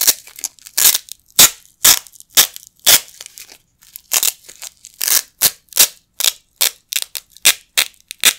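A pair of small, flat yellow nylon hook-and-loop Velcro patches, held in both hands with the fingertips over a carpet, is repeatedly ripped apart. Each tear is a bright, crackling rasp with almost no low end, some drawn out and others quick and sharp. The rips come in an uneven series of bursts with short silences between them.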